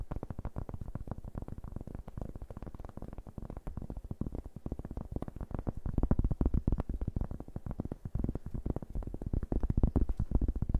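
A large, round, flat, thin solid cork board held in both hands is tapped and scratched with fingertips and nails. The result is a dense, rapid, uneven patter of soft, dull, low thuds with almost no brightness. Each tap dies away instantly, and the tapping grows somewhat louder in the second half.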